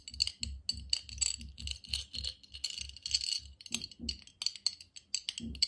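A medium clear glass jar, hollow and nearly empty and held in both hands, is tapped and scratched by fingertips, short nails and metal rings. A steady run of quick, bright clicks and sharp high clinks comes through, each dying away almost at once, over soft low thumps and faint scratching.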